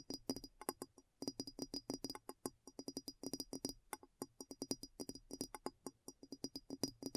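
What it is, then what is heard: Glass bowl tapped with fingernails. Long nails tap rapidly on the base and sides of a clear, hollow glass bowl placed upside down. The taps come in quick, uneven bursts. Each is a short, dry click with a low hollow tone and a faint high glassy ring that dies away almost at once.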